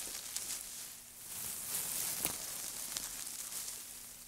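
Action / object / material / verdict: shake / loose heap of thin wood shavings / wood / none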